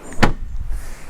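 A single knuckle tap on the fiberglass composite body panel, over an aluminum frame, near the rear battery/trunk area of a Chevrolet Corvette C7 Stingray Z51 manual, checked on suspicion. It gives a short, dull, low thud that dies away almost immediately, with only a faint low rumble after. The panel turns out to be all plastic, as expected.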